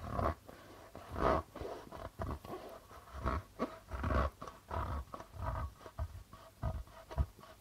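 A hollow darbuka goblet drum with a white plastic head and dark red body, held on a lap, is tapped and rubbed with the fingertips and palm of one hand. It makes an irregular series of soft, low, hollow thumps with a muffled midrange tone, with brushing rubs on the membrane between them. Each tap dies away quickly.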